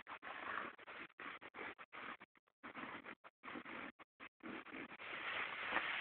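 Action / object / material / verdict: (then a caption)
scrape / cotton denim jeans / denim / none. Fingertips and short nails scratch light-wash cotton denim jeans lying flat on a bed, working around the back pocket seam. About twenty short, dry, rasping strokes come in quick, uneven bursts with brief silent gaps between them. The scratching ends in a longer continuous rub that is slightly louder and brighter.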